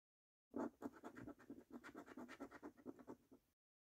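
A coin scratches the latex coating off the number panels of a thin, flat paper National Lottery £1 Million Snack Stack scratch card. A rapid series of short, dry rasping strokes runs for about three seconds, with most of its energy in the low-mid to mid range, centred near 330 Hz. Each stroke stops quickly with almost no ring.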